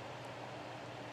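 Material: Nothing is struck.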